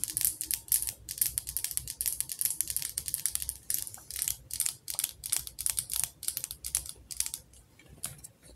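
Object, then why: Wax-filled glass candle jar with metal lid. Long acrylic nails tap on the glass sides of a medium glass jar candle, full of orange wax and topped with a metal lid, held in the hands. A quick, uneven flurry of crisp, bright clicks plays throughout, each tick dying away almost instantly with little low end, and the taps grow softer toward the end.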